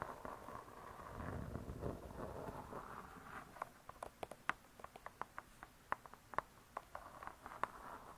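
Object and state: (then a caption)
Spiral-bound hardcover cookbook. Long nails scratch and tap the cardboard-covered cover of a spiral-bound hardcover cookbook. A soft, rustling scratch gives way to a quick run of short, dry, clicky taps with a mid-pitched tone, each dying away almost at once. The sound stays quiet throughout.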